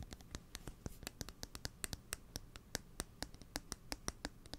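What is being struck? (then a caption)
Steel scissor blade. A steel kitchen scissor blade, held upright close to the mic, is scratched and tapped with fingernails. About thirty quick, dry ticks and scratches follow one another in an uneven rhythm, each bright and sharp with almost no ring. A soft low rumble sits underneath throughout.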